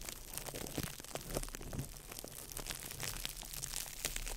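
A small ball of crumpled clear plastic wrap is crinkled by fingertips over the microphone. It gives a steady stream of dense, crackling rustles with sharp, bright snaps over a low, muffled rumble, lasting about four seconds at an even, soft level.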